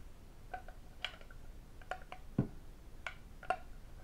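A medium, hollow, empty red lacquered wooden octagonal tray with Chinese characters is tapped inside and out with fingertips, nails and metal rings. Quiet, irregularly spaced clicks have short bright overtones that die away almost at once, and one deeper, duller knock lands partway through.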